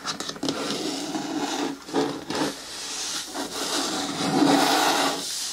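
Long nails scratch and rub along the side wall and lid of a hollow, hard green plastic bin with a lid. The result is a steady, bright scraping rasp with a hollow body tone around 280 Hz that swells and dips as the strokes change.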